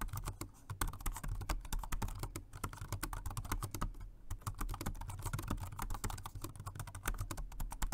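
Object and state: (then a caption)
Plastic keyboard being typed on. A dark grey plastic Jelly Comb dual-mode rechargeable 2.4G wireless and Bluetooth multi-device keyboard with round keycaps sits on a white desk while fingertips type on it continuously. The keys give a rapid, steady stream of short, crisp clicks and taps that stop almost instantly, over a constant low hum.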